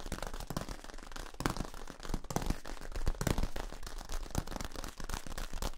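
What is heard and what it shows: Fingers scratch and tap along the ridges of a long, hollow, yellow ribbed plastic tube held in both hands. The result is a dense, rapid run of short, dry crackling taps and scrapes that overlap, with most of the weight in the low end and little ring after each hit.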